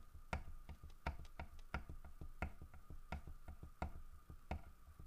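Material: Wood.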